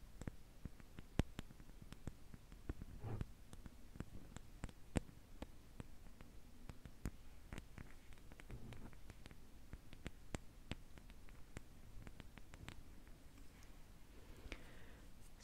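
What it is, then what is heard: Lacquered wooden spoon tapped with nails. Long nails tap the back of the bowl of a solid, lacquered Khokhloma painted wooden spoon. Quiet, dry, sharp ticks come in an irregular stream with no ring, over a soft, low, rustling background.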